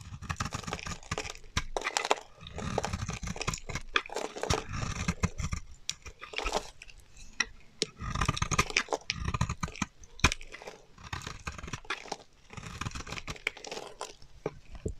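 A solid, dry, bright green bar of soap held in the hand is shaved into long curls with a metal utility knife blade. Bursts of crisp, crunchy scraping repeat throughout, each with a low rumble and a bright edge, broken by sharp clicks as the blade catches and releases.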